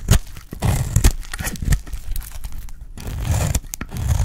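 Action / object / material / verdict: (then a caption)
scrape / bar of soap shaved with a metal blade / soap / none. A solid red bar of dry soap, held in the hand, is shaved into curls with a metal utility blade. Repeated crisp scraping cuts crackle and crunch across a broad, bright range over a heavy low-frequency body, each stroke starting sharply and dying away quickly.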